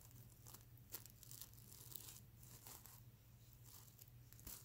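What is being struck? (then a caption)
Sequin-covered fabric pillow with plastic sequins. Fingernails scratch back and forth across the plastic sequins of a sequin-covered stuffed pillow, flipping them from silver to blue. The result is a quiet, bright, crinkly rasp in repeated short bursts, with a steady low hum underneath.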